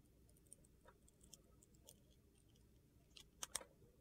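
A hand-held solid yellow bar of soap with sequins and a white interior is shaved with a metal utility knife blade, and slices peel off. Five quiet, crisp, bright scraping clicks sound over a low, steady background hiss, with the last two the loudest.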